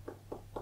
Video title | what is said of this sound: How to perform percussion ( and get a strong sound !! ) | I'm percussing on my leg it sounds dull